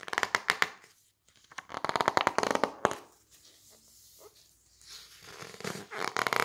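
Fingertips squeeze and rub the thick glossy pink and green pages of an open softcover book while turning them. The result is bursts of rapid, crisp crackling and rustling, separated by quieter stretches of soft paper sliding.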